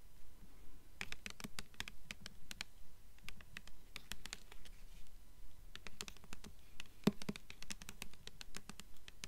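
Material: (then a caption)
Paper. Long nails tap and scratch the glossy paper dust jacket on the front of a purple hardcover book held up close. The result is a quiet, fairly steady run of quick, dry taps with soft scratching, each a short low thump topped by a sharp bright click, with one louder tap about two-thirds of the way through.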